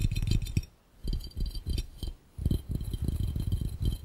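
Fingertips on both hands tap quickly on an empty, hollow, clear round glass fishbowl. The taps are dull and low, mostly short thuds with little ring and faint bright clinks. The tapping comes in rapid bursts with two brief pauses.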